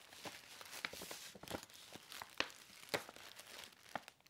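A medium paper gift bag with an old world-map print and black rope handles, hollow and empty, is held, opened and rubbed with fingertips and nails. It gives soft, bright crinkling and rustling with a steady papery hiss. Sharper crackles stand out near the middle and toward the end.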